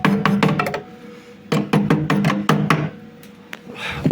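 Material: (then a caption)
Steel. A hammer taps repeatedly along the welded, reinforced steel roof rail of a VAZ-2103, producing short, solid knocks in quick bursts with a low, brief ring that dies away almost at once. The dull, tight response marks the rail as very well reinforced.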